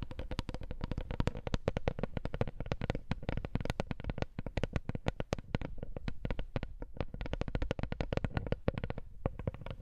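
A wooden coaster is tapped in a fast, continuous stream. Each tap is a short, dry, low knock that dies away almost instantly, with little high ring. The tapping stays at a steady, soft level for the whole clip.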